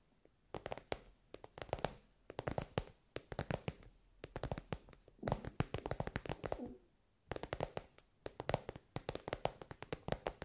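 Long nails tap rapidly on an elongated soft pencil case covered in shiny pink synthetic fabric. The sharp, dry clicks come in quick bursts separated by brief pauses, with a soft low body and almost no ring.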